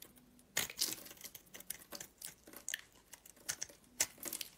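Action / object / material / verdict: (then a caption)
scrape / soap bar with glitter coating / soap / none. A rectangular solid purple soap bar with a gold glitter coating, held in hand, is scraped with a metal blade. The clip is a run of quiet, dry, crinkly scraping strokes, mostly high and bright with almost no low end. Short louder bursts rise out of a faint hiss.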